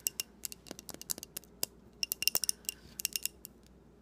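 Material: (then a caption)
Glass. A small glass jar filled with pink wax and a lit candle is held in both hands and tapped and scratched with long painted nails. About twenty-two quick, bright clicks sound at an uneven pace, with dry, short scratches between them and no ringing.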